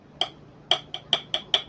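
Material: Glass.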